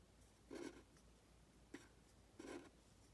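A pen tip scratches strokes onto a thin printed paper worksheet lying flat. The loudness shows two longer, scratchy strokes with a short sharp tick between them, each with a low-mid body around 300 Hz and a bright hiss. Everything stays quiet against a low background hum.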